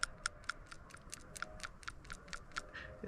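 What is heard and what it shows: An old metal/plastic PCV valve removed from the 2.0 L GDI engine of a 2014 Kia Rondo is shaken, giving 13 faint, sharp, irregular clicks with a thin, bright tick around 1.4 kHz and almost no ring. The weak, uneven rattle marks the valve as bad: it is sticking and does not slide well.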